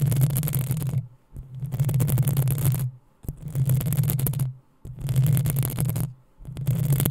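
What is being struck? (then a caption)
Metal mesh microphone grille. Long acrylic nails on both hands scratch the hollow, rounded metal mesh grille of a black USB condenser microphone. Five bursts of dense, crackly scratching are separated by short pauses, each carrying a heavy low rumble under a bright, gritty hiss.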